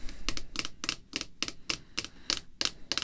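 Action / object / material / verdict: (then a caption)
tap / rigid clear plastic card holder / plastic / none. Long red fingernails tap on a clear, rigid plastic holder containing a baseball card, lying flat on black cloth. A quick, uneven series of short, bright clicks sounds, each sharp with a hard high edge and almost no ring, over a faint low background.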